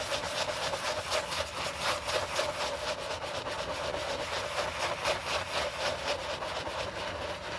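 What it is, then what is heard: Leather sneaker being brushed. A white leather low-top sneaker, held hollow in a gloved hand, has its upper scrubbed with a wooden-handled horsehair brush and cleaning foam. Steady back-and-forth brushing strokes, about four per second, give a soft rhythmic bristly rasp with a faint tone near 600 Hz and bright high swishes.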